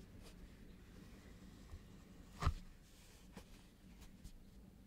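Fingertips and nails in lace fingerless gloves tap and scratch the printed foil surface of a flat rectangular holographic cardboard box for the Grimoire eyeshadow palette, lying on a black cloth. Faint, low scratching runs throughout, with one sharper, short tap standing out near the middle before the quiet scraping resumes.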